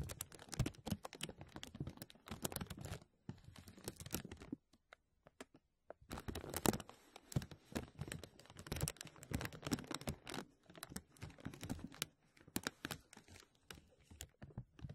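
Fingertips tap and crinkle a thin, clear, embossed plastic vacuum-seal bag stretched over a mesh microphone dome. The result is a dense run of close, dry crackles and taps with low thumps and bright crinkly edges. A near-silent pause around five to six seconds breaks it up before the crinkling resumes.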